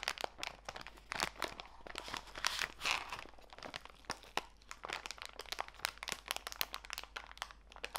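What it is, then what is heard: Plastic bag of walnut pieces. A small clear plastic bag full of walnut pieces is turned over and squeezed in both hands. The plastic crinkles and the nuts crunch in a dense run of sharp, bright crackles with almost no low end. A few louder bursts stand out over a quiet background.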